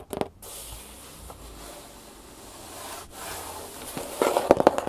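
Long painted fingernails and fingertips tap and scratch the top and side of a large, empty-looking corrugated cardboard shipping box with its flaps partly closed. A few quick, dry taps open the clip, followed by a steady, soft scratching hiss. A cluster of fast, sharp taps closes it.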